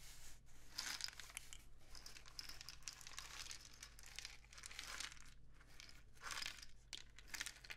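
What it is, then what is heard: Cardboard rain stick. A painted cardboard rain stick tube, held low and horizontal, is tilted slowly with fingers resting on the tube. It makes a continuous bright, crinkly patter that swells and fades in waves over a faint steady low hum.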